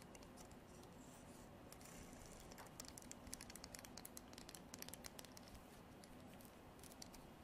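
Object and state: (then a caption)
Horn comb. Long artificial nails strum the fine teeth of a translucent amber comb, probably horn, and tap its body. Quiet, rapid, crisp ticks and bright scratchy clicks cluster in the middle of the clip over a soft, steady low background, each click dying away almost instantly.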